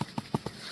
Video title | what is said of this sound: Let's go Forage!/ Mushroom Season is here at last! / #mushroomforaging #bolete #foraging | when I tapped it, you can hear that it's still quite firm